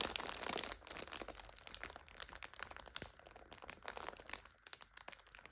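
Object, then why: Plastic-wrapped multipack of instant noodles. A full plastic multipack of instant noodles stands on its side while hands press and squeeze it and nails scratch the wrapper. Bright, dense crinkling and crackling is loudest at the start, then thins into quieter, scattered crunches and sharp crackles.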